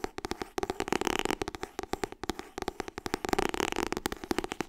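Fingertips and nails tap fast on the white and blue cover of a solid "Getting Things Done" paperback book held in both hands. The result is a rapid, continuous stream of dry, papery clicks and soft thuds with almost no ring.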